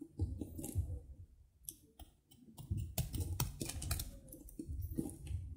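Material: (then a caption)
Soap. A metal knife chops and shaves brittle chips off a small, solid piece of dry soap held in the fingers. The sound is a run of short, dry clicks and crisp crunches with bright, papery edges over a low thudding body, and each cut dies away quickly.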